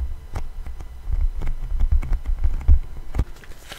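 A thin, solid black 12-inch vinyl LP is held upright in both hands in front of a microphone while fingertips and nails tap and scratch its grooved surface. The result is an irregular run of soft, dull taps with a low thumping body around 62 Hz. Brief clicky scratches streak upward and die away almost instantly.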